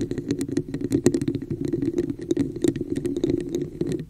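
Long nails tap and scratch the sides of a hollow red textured plastic cup with an embossed pattern, held over a microphone. A quick, uneven stream of hollow clicks and scratchy rasps rings at a low-mid pitch around 355 Hz, with bright ticks on top. Each hit dies away almost at once.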